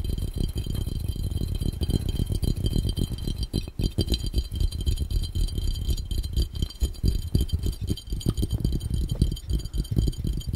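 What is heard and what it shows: An empty, hollow, clear round glass fishbowl, held over the camera, is tapped and drummed fast with the bare fingertips and nails of both hands. The result is a dense, continuous rattle of quick, dull taps with almost no ring, weighted heavily toward low thumping around 62 Hz with only a faint bright edge.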